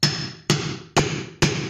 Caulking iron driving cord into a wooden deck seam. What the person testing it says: quand on entend un bruit sourd, c'est-à-dire que le fond de joint est au fond